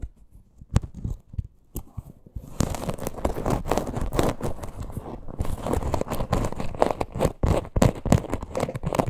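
Long acrylic nails scratch and tap the front of a small, hollow teal faux-leather crossbody purse with a stitched leather parrot appliqué, held upright. A few sparse, dull taps open the clip, then it turns into dense, uneven scratching and rapid tapping. The sound is muffled and low-heavy, with short crinkly scrapes and no ring.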